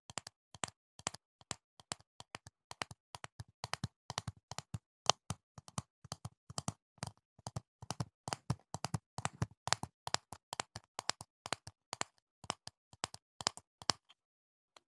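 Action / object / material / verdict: tap / plastic jar full of foam earplugs / plastic / none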